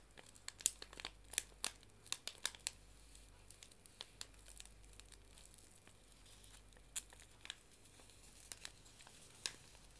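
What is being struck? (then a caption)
Paper tea bag sachet. A small, flat paper tea bag sachet is held in both hands and bent and crinkled with the fingertips and long nails. Quiet, sharp, bright crinkles and crisp clicks come in scattered bursts, each dying away almost instantly. A faint low hum runs steadily underneath.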